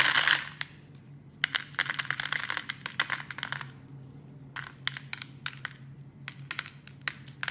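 A metal blade carves small cubes off a solid, hand-sized red soap bar scored in a grid. After a brief scraping burst at the start, it makes crisp, bright clicks and snaps in quick clusters, each dying away almost at once over a faint low hum.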